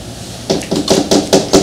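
Six knuckle taps on a 1950s Harlequin painting done on board rather than canvas, each a dull, short knock with a low-mid tone. The board support makes the painting very heavy and gives the paint a flat matte quality.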